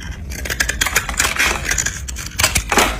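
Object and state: Dry bar soap shaved with a knife.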